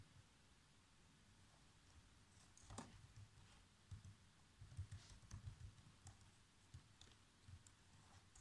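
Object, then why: Plastic laptop keyboard. Fingertips with short nails type fast across the black plastic chiclet keyboard of a laptop. Soft, quick taps and clicks land over a low, dull background, with a few sharper keystrokes standing out from the steady patter.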